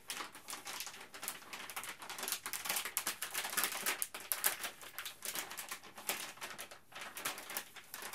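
A printed plastic Ziploc Zip'n Steam bag is folded and crinkled in both hands, then held up and shaken. The result is a dense, continuous, bright crackle of many quick crinkles with almost no low end.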